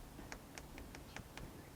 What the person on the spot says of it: when I tap it, it echoes. The center is more hollow as, things decay and dry out.